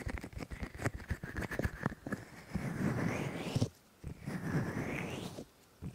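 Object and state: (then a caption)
Silicone microphone ears being rubbed. Both hands rub and cup the white silicone ears of a 3Dio microphone with fingers and palms. Quick, uneven rubbing and patting come first, then two longer muffled, cupped swells with a hollow tone that rises and falls, separated by near silence. The sound is close, low-heavy and soft.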